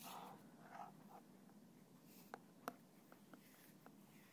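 A thin black stick scratches and taps the side of a small translucent plastic bottle with a red cap, standing upside down and partly filled with clear liquid. Soft, dry scratching and rustling come first, followed by a few short, crisp plastic taps with a faint hollow tone and almost no ring, all at a very low level over a steady background hiss.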